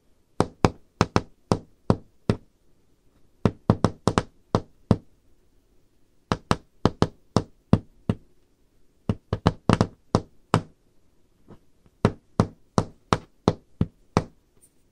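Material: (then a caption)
Wood. Long red-painted nails tap on a solid varnished wooden tabletop in quick bursts of knocks separated by short pauses. Each tap is a dry, low thud with a bright click on top that dies away almost instantly.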